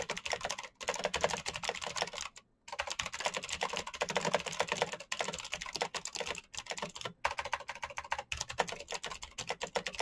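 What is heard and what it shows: Fingertips type fast and continuously on a black plastic mechanical keyboard with clicky switches, producing a dense stream of sharp, bright clicks. The typing pauses briefly several times, most clearly a short silence just before the three-second mark, before resuming.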